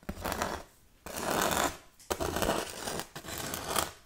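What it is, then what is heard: Foam tombstone decoration. Long red-painted nails scratch and tap the textured surface of a lightweight, flat grey painted foam Halloween tombstone, possibly styrofoam, about 40 cm tall with green glitter "RIP" lettering, held in both hands. Dry, bright scratching comes in several sustained bursts, each rising quickly and fading within about a second, with brief taps mixed in and little low end. The sound stops short between strokes, with almost no ring.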